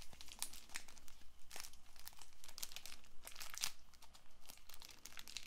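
Long nails scratch and tap the surface and edges of a small cellophane-wrapped paperboard playing card box held close to the microphone. The result is a steady run of crisp, bright crinkling and scratching, broken by short sharp taps.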